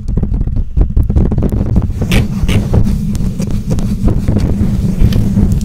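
Long nails scratch and tap the bare black metal mesh grille of a condenser microphone. The result is a dense run of quick, dull thumps and rough scraping, heavy in low-frequency rumble, with a few brief brighter scratches standing out.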